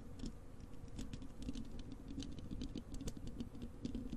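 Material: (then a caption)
Metal mesh. Long acrylic nails on both hands scratch the bare, hollow wire-mesh metal grille of a large desktop microphone. The result is a dense, continuous patter of quick scraping ticks over a heavy low rumble, with faint bright streaks on each stroke.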